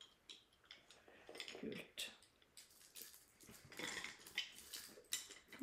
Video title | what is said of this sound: Reisebrev fra Oklahoma | Det høres ut som tre. Ja. Det er en resin som det heter.